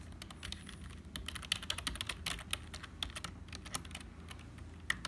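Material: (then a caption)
Plastic. Fingertips of both hands type quickly on a black HP plastic membrane keyboard with hollow keys. The result is a dense, steady stream of short, bright, clacky key taps with a dull low thud beneath, with occasional sharper strokes standing out.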